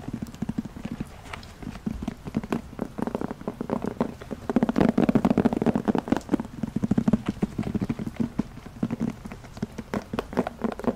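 Long nails tap and scratch the surface of a black, hollow, handheld semi-hard faux leather zippered carrying case. The result is a fast run of short, dry, hollow clicks and scrapes, centered on a low-mid tone around 215 Hz with a faint bright edge. The sound grows louder and denser through the middle, then eases back toward the end.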